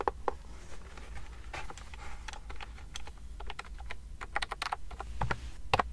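A pastel plastic wireless keyboard with round keys, held sideways and then flat near the mic, is typed and clicked on with fingertips and long nails. About 23 short, dry clicks and taps come at an uneven pace over a steady low hum.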